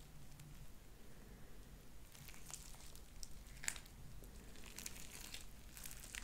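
Light-blue sticky slime with white beads is stretched into thin sheets and bunched up with fingertips and long nails. Quiet, bright sticky pops and crackly squelches come in irregular bursts over a low, steady background hum.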